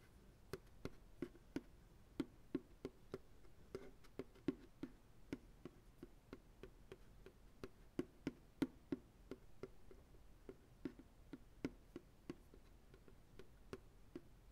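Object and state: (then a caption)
Empty plastic ice cream pail. Slow fingertip taps on the flat bottom of an empty white plastic ice cream pail held on a lap. About 37 soft, hollow knocks land at an uneven pace, each with a low, boxy tone near 270 Hz that dies away almost at once. The tapping stays quiet throughout.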